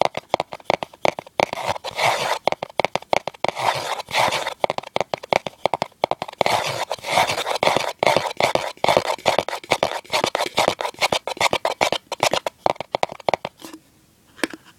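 Fingers with short nails scratch and scrape the inner bottom surface of an open, empty, hollow cardboard gift box. Rapid, dry bursts of scratching and rasping crunch follow one another with almost no low end and no ring. The sound briefly quiets to a faint scrape near the end before one last burst.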